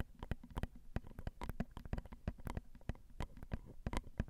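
Long acrylic nails tap the small, hollow, crossed silver metal X/Y microphone capsules on a Zoom recorder. The result is a rapid, uneven series of short, dry taps, about three per second, with a heavy low thump and very little ring.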